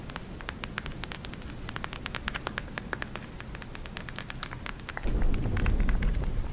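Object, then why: Plastic gel eye mask with beads. Long nails tap and scratch the plastic surface of a pink gel eye mask filled with glitter beads, held up in one hand. Quick, sharp, bright clicks come in an uneven patter over a low, rumbling background. About two-thirds of the way through, the low rumble grows louder.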